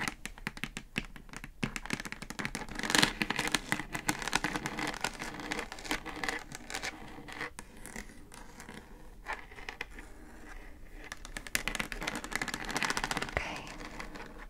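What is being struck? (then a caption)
Plastic speaker housing. Long acrylic nails tap and scratch the hollow plastic top of a pink Divoom Times Gate Bluetooth speaker with a round centre control. The result is a dense, crackly stream of bright scratching broken by quick, dry taps that die out almost at once. It swells louder around the third second and again near the end.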